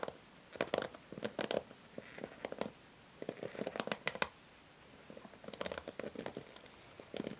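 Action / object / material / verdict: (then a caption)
scrape / plastic hair brush / plastic / none. Long nails strum and scratch the bristles of a pink plastic hair brush. Quick clusters of dry, crisp clicks and scratchy ticks come in bursts separated by short quiet pauses, with a mid-range body and bright high edges. Each flick dies away almost instantly.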